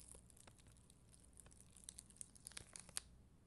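A black mascara spoolie brushes over the clear gems on a flat sheet of red and clear acrylic rhinestone stickers on white backing. The result is a quiet, dry, crinkly scratching with irregular bright, sharp ticks that grow more frequent and pronounced toward the end.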